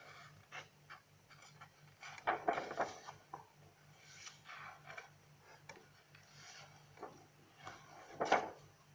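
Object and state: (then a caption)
Paper notebook pages being turned and rubbed. Fingers with long nails flip the pages of an open lined paper notebook and rub across the paper. Soft, scattered rustles and scratchy brushing sit over a faint steady low hum, with louder crackling page flips around 2.5 seconds and again near 8.3 seconds.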